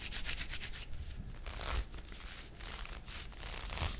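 A pink nylon fishnet arm warmer worn on the forearm, its thin open net fabric over skin, is scratched and rubbed by the fingertips and nails of the other hand. The result is a steady, dry rubbing and scratching texture with repeated bright, airy strokes over a low rumble.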